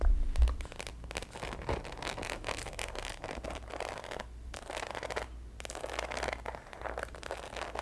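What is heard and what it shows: A black glossy croc-embossed faux leather handbag, medium size, hollow and closed, is held up close while long acrylic nails scratch and tap across its surface. The result is a steady run of dry, rustling scrapes with soft taps mixed in, over a low hum.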